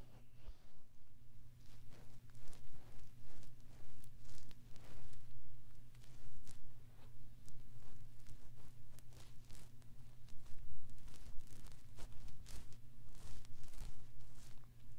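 Fingertips with short nails repeatedly scratch the soft silicone ear set in the white plastic disc of a 3Dio binaural microphone. The result is a continuous run of close, crackly scratching and rustling bursts, with bright, sharp scrapes over a steady low hum.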